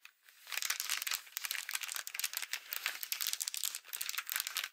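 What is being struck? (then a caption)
Folded paper greeting card. Long acrylic nails scratch and tap the front and inside of a Halloween paper greeting card with a folded-paper pumpkin on the front, lying flat. The result is a dense, continuous run of bright, crisp crinkling scratches and quick papery taps with almost no low end.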